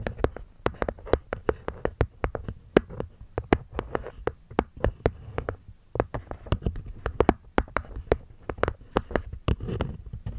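Long nails and fingertips tap the cork lid and wooden edges of a small, hollow hexagonal wooden box. The result is a steady, rapid run of short, dry clicks and knocks with a hollow body around 390 Hz and bright nail ticks. Each tap dies away almost instantly.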